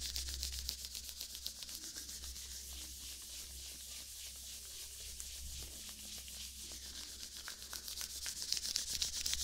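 Thin white latex gloves worn on both hands are rubbed and stretched as the gloved palms and fingers slide together. The result is a steady, bright, hissing friction texture of quick, fairly regular strokes, with occasional sharper squeaks near the end over a faint low hum.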